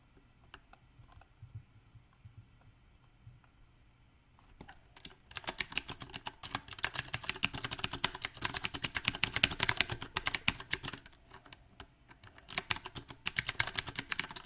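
A compact backlit mechanical keyboard with round plastic typewriter keycaps is typed on by fingertips, first with one hand and then with both. A few sparse, quiet clicks open the clip, then a dense run of bright, sharp key clacks builds from about five seconds. The typing pauses briefly near twelve seconds and resumes in a quick flurry.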